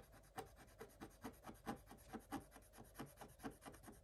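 A thin wooden stylus rubs and scratches the black coating off a scratch-art paper page, revealing colored foil underneath. About fourteen short, quiet raspy strokes come in a loose, uneven rhythm, each a dry scrape with a low-mid body and a faint bright hiss.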